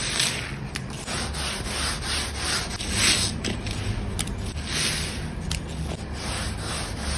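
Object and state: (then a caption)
Wooden table top being scrubbed. A hand scrubs a large, soapy, solid wooden table top with visible grain using a grey scrub sponge in circular strokes. A steady, rough scratching and rubbing hiss with a low rumble swells and eases with each stroke. The sound stays bright and continuous throughout.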